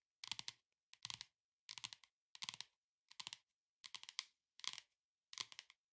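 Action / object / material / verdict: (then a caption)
tap / hardcover cardboard book cover / cardboard / none. Long nails tap and scratch the flat, solid printed paper-over-board cover of a hardcover cardboard cookbook, the Beetle House Cookbook. Eight short bursts of quick, dry clicking and scraping come in an even rhythm, bright and crisp with no ring.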